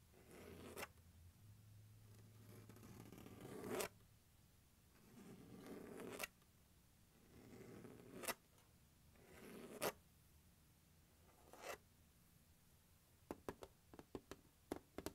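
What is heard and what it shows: Fingertips and nails scratch and rub across the lid of a closed, large, hollow turquoise hard plastic glockenspiel carrying case resting on carpet. Slow rasping strokes swell and end in sharp, bright clicks, over a soft hollow midrange resonance. The clip closes with a quick run of light, crisp taps.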